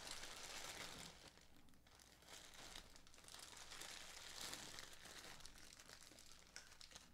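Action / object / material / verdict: scrape / thin plastic bag holding bottle caps / plastic / none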